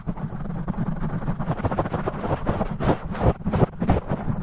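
Fingertips and nails of both hands rapidly scratch and tap a large black foam windscreen over a metal studio microphone, with the audio sped up 2x. The result is a dense, low, rumbling scratch-and-thump texture with a steady muffled roll and several sharper, louder taps toward the end.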